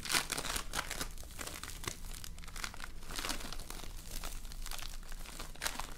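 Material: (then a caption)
Polystyrene beads. A handful-sized, solid lump of multicolored foam-bead slime, with tiny polystyrene beads bound in slime, is squeezed, kneaded and pulled apart by two hands with painted nails. It gives off a steady stream of dense, crunchy crackling with short bright bursts over a low rumble.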